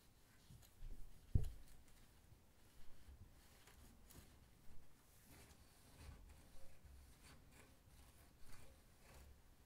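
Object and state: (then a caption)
Stainless steel oven front being wiped. A hand wipes and rubs the large, flat brushed stainless steel front of an oven door and lower drawer with a folded paper towel. Quiet, soft, low swishing strokes come in short bursts with pauses between them, and a brief sharp knock sounds early on.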